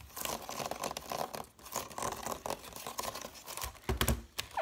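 Fingertips and nails rapidly tap and scratch across the woven strands of a large, hollow woven wicker (willow/rattan) basket held up close. The result is a dense, dry crackling and crinkling rustle with quick, short-lived taps. Near the end come a few louder, fuller thumps with more low end.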